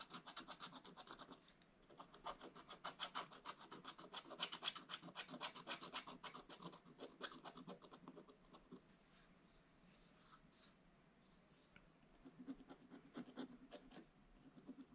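A wooden stylus scratches details into a black-coated scratch-art paper page in an open book, making rapid, bright, raspy strokes in quick bursts. The scratching fades to a soft hiss around the middle, then picks up again in short strokes toward the end.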